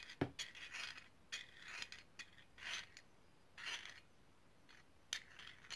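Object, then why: Small ridged brass grinder. Long painted nails scratch and rub along a small hollow, ridged brass herb grinder. Soft, bright rasping strokes come in short bursts with sharp clicks between them, separated by near-silence. The scratches are quiet and dry, with almost no ring after each stroke.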